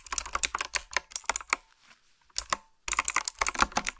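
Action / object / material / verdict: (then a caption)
tap / mechanical keyboard with round plastic keycaps / plastic / none. Fingertips and nails type on a retro typewriter-style keyboard with a dark frame, round black plastic keycaps and blue backlit switches. About 17 sharp, bright, clicky keystrokes come in quick runs, with a short pause after the first run and two isolated taps before a dense burst of typing resumes.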